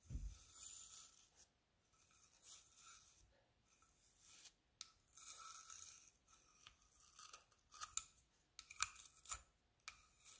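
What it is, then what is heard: Seashell brushed with a toothbrush. A hand-sized hollow conch-type seashell with a brown and white spiral and a smooth white inner lip is held in one hand while the other hand scrubs its surface with the bristles of a plastic toothbrush. The result is bright, scratchy bristle rasping in bursts separated by brief quiet gaps, opening with a soft low bump. Sharper clicks and ticks stand out toward the end.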